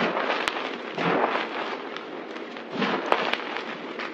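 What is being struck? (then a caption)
Pile of crumbled soap. Hands dig into, press and crunch a pile of white crushed dry soap powder and chunks on a table with fingers and palms. A dense, crackly, gritty crunching rises and falls in waves, with a few sharp bright snaps standing out.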